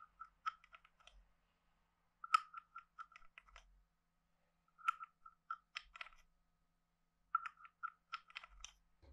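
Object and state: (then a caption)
Wooden frog guiro. A hand-sized hollow carved wooden frog guiro is played with a wooden stick, scraped along its ridges and tapped. Four bursts of dry, woody clicks come out, each with a strong hollow tone near 1.3 kHz and brief bright rattles. Every click dies away almost instantly, with quiet gaps between the bursts.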